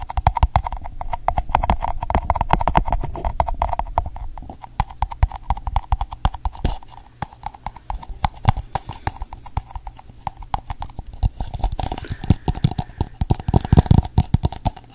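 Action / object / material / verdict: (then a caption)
tap / plastic cup / plastic / none. A pink, hollow, empty plastic cup is held upside down near the mic while fingertips tap and knock on its base and sides. The result is a rapid, irregular stream of short, dull, hollow clicks, heaviest in the low end with little brightness. The tapping is dense for the first few seconds, eases off in the middle, then picks up again near the end.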